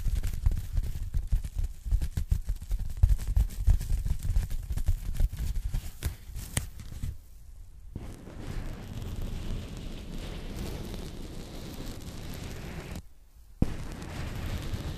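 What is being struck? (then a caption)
Polyethylene foam packing bag. Long nails tap and scratch a thin pink polyethylene foam packing bag, held flat and empty in both hands. The first half is rapid, irregular, dull tapping with a heavy low thump, followed by a short silence and then a steady soft scratching rustle. The scratching pauses briefly and resumes after a sharp tap.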